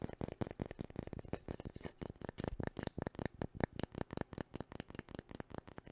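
Fingertips and nails scratch and tap along the handle and bowl of a long, solid, light-coloured wooden cooking spoon held in both hands. About thirty quick, dry, quiet taps come in an uneven rhythm, each with a soft woody low thump and almost no ring. A faint scratchy texture runs between them.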